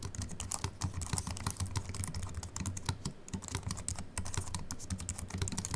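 Fingertips of both hands type steadily on a compact Apple keyboard with a silver aluminium body and white plastic keys, resting on a wooden desk. A rapid, continuous stream of short, dry key clicks has bright high ticks over a soft low thump. Each keystroke dies away almost instantly.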